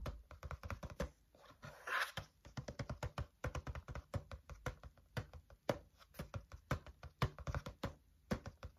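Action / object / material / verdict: tap / wire-bound paper notebook / cardboard / none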